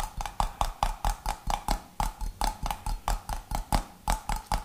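Fingernails tap about twenty times on the gold metal screw lid and clear glass body of a medium, mostly empty glass jar. The taps come in a steady, slightly uneven rhythm, each a short click with a brief ringing tone near 870 Hz and a low thud beneath it.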